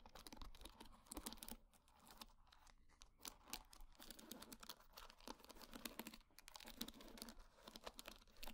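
A wooden hair brush with wooden pin bristles is held in hand while long nails scratch and flick through the bristles. Dense, rapid, dry clicks and scratchy ticks crackle with bright edges and die away almost instantly. The patter pauses briefly around 1.6 and 6.2 seconds.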